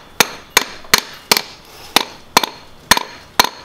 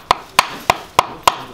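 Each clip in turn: First: Eight sharp metallic clacks with a faint buzzing rattle; a worn damper pulley whose rubber bond has come loose. Second: Five short, dry knocks around 1 kHz that stop at once: a new damper pulley, tight and sound.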